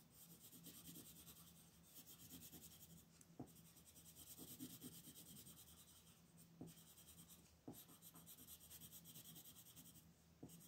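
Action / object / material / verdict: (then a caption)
scrape / colored pencil on paper sheet / paper / none. A red wooden colored pencil shades the shell on a flat white paper coloring sheet resting on a table, making soft, continuous rubbing and scratching strokes with a bright, papery rasp. A few sharp ticks stand out as the pencil lifts and meets the paper again, over a faint steady low hum.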